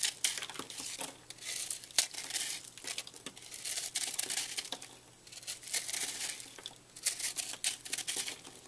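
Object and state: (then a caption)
Microwaved puffed soap being scraped. A utility knife blade slices and scrapes the crumbly surface of a porous, microwaved puffed purple soap chunk held in hand, with flakes falling onto a table. Soft, bright crinkling and crumbling crackles come in dense bursts with short pauses, each tiny snap dying away almost instantly.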